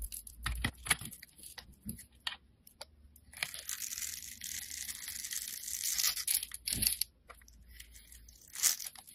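A solid blue, rounded bar of soap held in the fingers has its surface scraped and shaved with a snap-off utility knife blade, sending powdery flakes falling. Crisp, dry, bright scraping comes first as short, sharp strokes, then as a longer continuous shave in the middle, followed by a few more quick scrapes.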